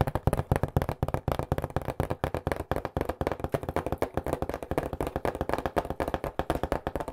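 Fingertips rapidly tap and knock on the flat face of a cardboard pizza box held on its edge. The result is a fast, uneven stream of dull, hollow thuds with a low, boomy body, very little brightness, and almost no ring after each hit.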